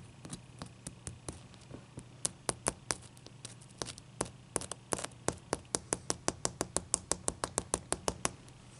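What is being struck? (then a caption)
Ice cube. Long dark-painted fingernails scratch and tap a clear, solid ice cube resting on a towel. The first few seconds bring soft scratching with scattered clicks, then a quickening run of crisp, bright, dry taps that stop instantly. A low, steady hum sits underneath throughout.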